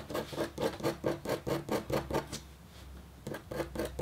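A red-handled, metal-tipped stylus scratches a flat, black-coated copper foil scratch art sheet in quick back-and-forth strokes. About fifteen short, raspy scratches come in a steady rhythm, with a brief quiet pause near the end before a few more strokes.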